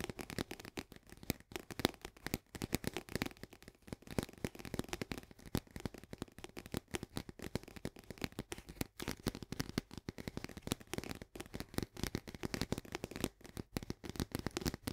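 An Orzo Bimbo soluble barley canister, a medium cylindrical paperboard tube with a green plastic lid, hollow and partly filled with powder, is held in both hands and tapped on the sides with fingertips and long nails. The result is fast, continuous dry tapping: dense, short clicks with a hollow, low-mid body and almost no ring.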